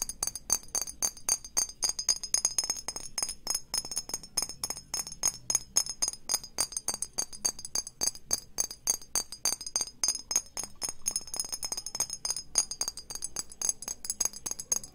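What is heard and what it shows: A small, hollow, clear glass perfume bottle held near the mic is tapped fast with long painted fingernails. The result is a steady stream of quick, irregular, bright clinks with a high glassy ring that dies away almost at once.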